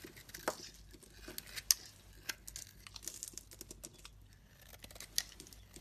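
A metal utility blade scrapes and carves thin curls from a solid pink soap bar covered in shavings. The sound is a quiet, dry, bright crackling and crinkling, with sharp clicks standing out near the start, in the middle, and near the end. Each click dies away almost at once, with very little low end.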